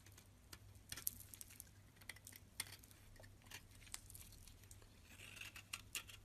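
A utility knife blade carves and scrapes flakes off a white oval bar of solid soap held in the hand. Quiet, bright scratchy clicks and short scrapes patter unevenly over a steady low hum, with a few sharper snaps standing out.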